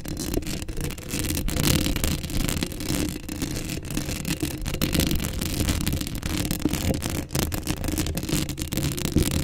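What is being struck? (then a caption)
Metal mesh microphone grille. Long acrylic nails scratch steadily across the hollow metal mesh grille of a black Blue Yeti microphone. The result is a continuous, dense scratching texture with a heavy low rumble and bright, crackly grit on top.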